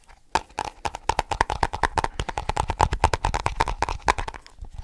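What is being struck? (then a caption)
Small snus container. Fast tapping on a small snus container makes a rapid run of about thirty short, dry taps with a faint ring near 900 Hz. The taps follow close together over nearly five seconds with no lingering decay.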